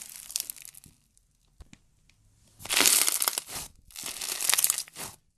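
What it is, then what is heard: Foam-bead slime. Pink slime with tiny foam beads is squeezed, pressed flat and crushed by hands. A soft, bright crackling opens the clip, followed by a few faint clicks. Two longer, louder bursts of dense, crisp crunching and crinkling then swell and fade.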